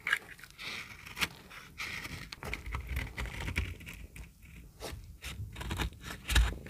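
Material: Soap.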